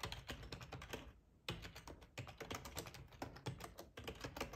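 Fingertips of both hands type on the keys of a full-size black plastic ergonomic split keyboard resting on a cloth tablecloth. Rapid, soft clicking keystrokes with a low thump patter steadily, pausing briefly just after the first second before the typing resumes at the same pace.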